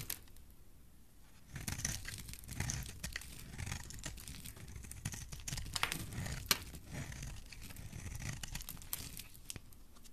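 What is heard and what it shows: A solid oval pink bar of soap held in the hand is shaved into curls with a metal blade. After a quiet first second and a half, a steady run of dry scraping and crinkly tearing strokes follows, with bright crisp edges and a soft low rumble underneath, some strokes snapping sharper than others.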